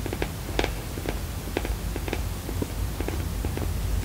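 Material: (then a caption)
Silicone. A black, round, textured silicone coaster, solid and flat, is held in both hands and scratched and tapped with long painted nails. Soft, short clicks and taps with a light scratching texture sit over a steady low rumble.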